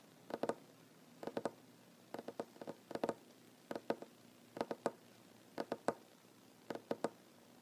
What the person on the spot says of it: Tapping on wooden table, mostly one handed. No talking.